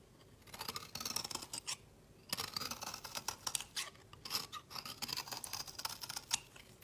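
A solid orange rectangular bar of soap is held upright in the fingers while its edge is shaved with a metal utility blade, dropping powdery shavings onto a woven mat. Quick, dry, bright scraping strokes come in bursts separated by short pauses.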